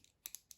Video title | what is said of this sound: The best EDC knives of the year for 2022 from $150 to $250! This one may be a surprise to some! 😏🔥 | Moving this around, the rattliness of this slider really bothers me.